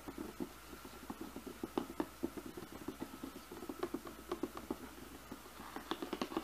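Fingertips and nails tap the top of a glossy cardboard slicer box in a quick, uneven run of soft, dry taps. Each tap has a hollow low-mid body with a brief click and dies away almost at once. A faint steady tone sits in the background throughout.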